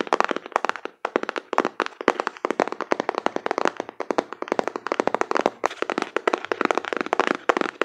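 Fingertips with long nails quickly tap and rub the back panel of a closed, hollow printed cardboard card box held in both hands. About fifty dry, clicky taps land in rapid bursts, with short pauses near one and four seconds. Each tap is a crisp midrange knock with almost no low end and no ring.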